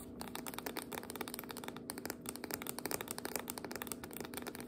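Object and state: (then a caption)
Biscuit dough can (paperboard tube with metal ends). Long nails rapidly tap the label-covered sides and top of a tall, full, sealed jumbo biscuit dough can, a spiral-wound paperboard tube with a paper label and metal ends, standing upright on a cutting board. The quiet, steady stream of dry, crisp clicks has a papery rattle with a low-mid hum underneath.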